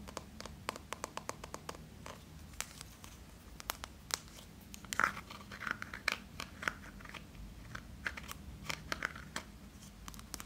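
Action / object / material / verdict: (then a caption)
tap / small plastic tub with lid / plastic / none. A small yellow plastic Play-Doh tub with a red plastic lid and printed label is held in both hands, closed and probably full of dough, while fingertips and short nails tap and scratch around the tub and lid. Many sharp, quick, bright clicks and scratchy crinkles sound over a low steady hum, with no ring after each tap.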